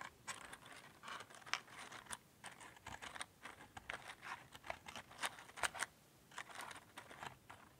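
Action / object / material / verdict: scrape / cardboard matchbox / cardboard / none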